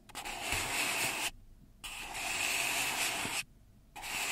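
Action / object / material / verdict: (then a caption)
scrape / kraft paper cup / paper / none. Long red nails rub and scrape along the side of an empty, hollow brown kraft paper cup held in both hands. Three long, bright, hissy strokes, separated by short silences, carry a faint whistling tone around 2.5 kHz.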